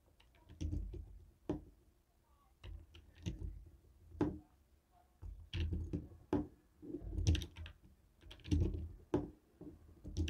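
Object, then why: Plastic TV remote control tapped with a stone roller. A jade stone face roller taps a white and black hollow plastic TV remote control. It makes an irregular series of short, dull, hollow knocks and clicks that are mostly low in tone and die away almost at once, with quiet pauses between bursts.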